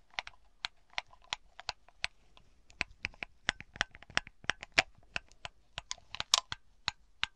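Long black nails tap on a glass bauble grape cluster, a bunch of small hollow smoky glass balls with ribbon and green glitter resting on a dark cloth. About two dozen quick, separate, bright clicks land in an irregular rhythm, each dying away almost instantly with no lingering ring.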